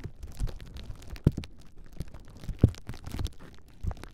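A large clear plastic bubble wrap sheet is held across the microphones while long nails scratch and press its bubbles. It makes a soft, low, muffled crinkling and rustling with scattered light taps, and two sharper thumps stand out above the steady texture.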